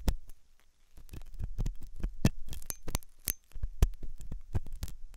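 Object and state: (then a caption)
Silicone dummy ear scratched with a steel hook. A steel dental hook scratches inside the ear canal of a white, solid and soft silicone dummy ear on a binaural microphone. The result is a rapid series of short, dull, low thumps and scrapes with a faint steady hum underneath, plus a few brief bright clicks.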